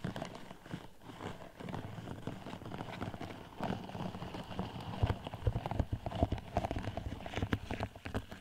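Long metallic red nails from both hands tap a tall, hollow, pink-iridescent plastic sleeve with a raised diamond pattern fitted over a microphone. The result is a rapid, dense run of short, dull, hollow knocks, heavy in the low end with a clip-clop feel. The tapping grows louder and more pronounced in the second half.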